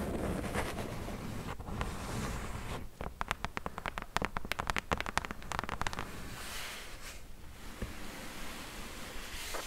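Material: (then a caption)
Cardboard. Long press-on nails scratch and tap across the flat top of a hollow brown corrugated cardboard box. A low, rustling scratch gives way to a run of quick, dry taps in the middle, then soft scraping returns.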